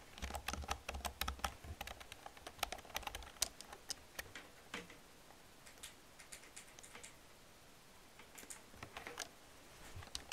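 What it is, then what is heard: Plastic computer keyboard. Long painted nails and fingertips type and tap on an old black plastic computer keyboard with hollow plastic keys. Quick, sharp, bright plastic clicks come in dense bursts for the first few seconds, thin out to sparse taps in the middle, then pick up again near the end.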